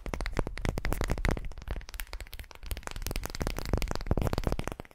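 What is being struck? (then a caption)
Unfinished wooden ball. Long painted fingernails scratch all over a single solid, unfinished light wooden ball about the size of a palm, held in both hands. The result is a dense, continuous run of quick dry scratches and crackly clicks with a heavy low body and little brightness, swelling and easing in loudness throughout.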